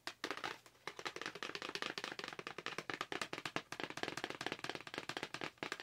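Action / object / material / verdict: tap / clear plastic blister pack on a cardboard card / plastic / none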